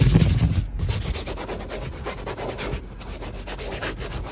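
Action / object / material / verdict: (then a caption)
scrape / woven fabric car seat / fabric / none. Fingertips and nails rub and scratch quickly across a padded, soft, light grey woven fabric car seat with a diamond stitch pattern. A dense, brushy scratching texture with a heavy low thump and rumble at the start settles into a steadier, quieter run of rapid, irregular strokes.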